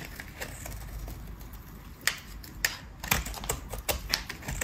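A metal utility blade shaves flakes off a dry, cream-colored square bar of soap with embossed text, held in the hand. Sharp, crisp scraping clicks with a bright edge come at irregular intervals over a soft, low background rumble, growing louder and more frequent in the second half.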